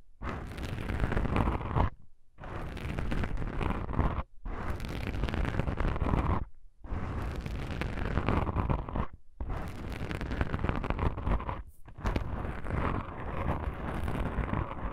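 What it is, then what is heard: Foam microphone windscreen being scratched. Long pink nails on both hands scratch and rub black foam microphone windscreens, giving dense, rough, boomy scratching that is heavy in the low end. The soft foam texture comes through in several long stretches separated by brief silent pauses.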